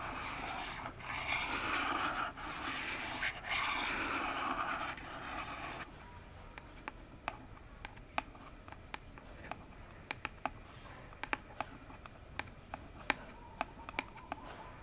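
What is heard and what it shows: Long fingernails scratch across the front face of a hollow orange cardboard phone box standing upright, making a dense, bright rasping rub for about six seconds. Then the nails switch to tapping the same face, giving a sparse, irregular series of short, sharp, bright clicks over a quiet background.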